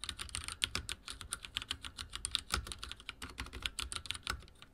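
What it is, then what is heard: Mechanical keyboard with plastic keycaps. Fingertips type on a backlit mechanical keyboard with dark plastic keycaps, producing a rapid, uneven stream of sharp, bright clacks centered around 3 kHz. Each keystroke decays almost instantly, with a soft low thud beneath the click.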